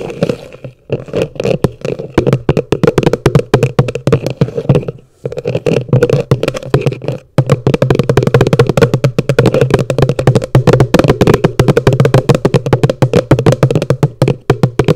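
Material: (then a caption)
Plastic. Long nails tap rapidly on the base of an upside-down, hollow yellow plastic bucket. The taps come in quick, dense bursts with short pauses between them, and each one gives a dull, hollow, low knock that dies away almost at once.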